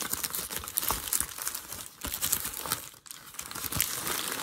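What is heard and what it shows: A hand presses and then crumples a creased sheet of grey packing paper. Dense, bright crinkling and crackling runs throughout, with a brief quiet dip around the three-second mark before the rustling picks up again.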